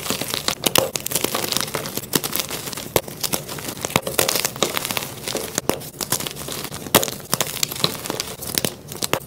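A flat white magnesium carbonate gym chalk block, solid and dry with chalk chunks and powder, is crushed, crumbled and rubbed in bare hands and fingertips. Dense, bright crunching and crinkling crackles come in rapid, overlapping bursts with little low end, each snap dying away almost at once.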